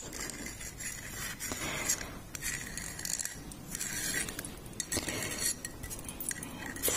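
A medium-sized opaque white ceramic perfume bottle with a decorative label and a brown cap is held in the hands and tapped and scratched with long red painted nails. The result is a rapid series of bright, short clinks mixed with scratchy friction.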